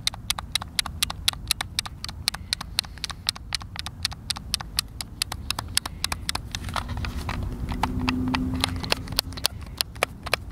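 Thumbs tap the buttons and sticks of a hollow, hand-sized white plastic Xbox controller, producing about 53 rapid, sharp, bright clicks at an uneven pace of roughly four per second. Beneath the clicks runs a steady low rumble that swells briefly with a faint hum near the end.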